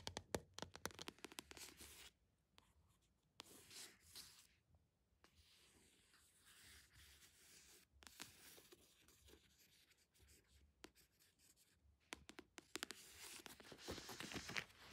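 Long acrylic nails scratch and tap quickly across the matte printed paper/card cover of a solid Dune paperback lying flat. Dry, bright scratching rasps alternate with bursts of crisp, short clicking taps and brief quiet gaps.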